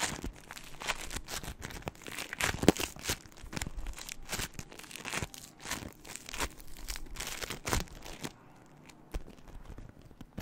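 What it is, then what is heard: Crunchy floam (foam bead slime). A small lump of pink crunchy floam, polystyrene foam beads mixed into slime, is held in both hands in front of the microphone and squeezed and crunched with fingertips and long nails. Dense, bright crackling and popping bursts come in quick, uneven clusters with sticky squelches between them. The crunching thins out and quiets near the end.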